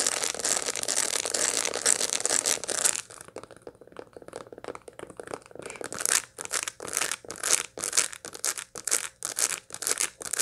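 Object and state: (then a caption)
Dried sunflower head with seeds. A dried sunflower head, still packed with seeds and held in both hands, is scratched across the seeds with long light-blue nails. Dense, bright, dry crackling scratches fill the first three seconds, then fade to quieter rustling. After that comes a fast, uneven rhythm of short, crisp scraping bursts with no low end.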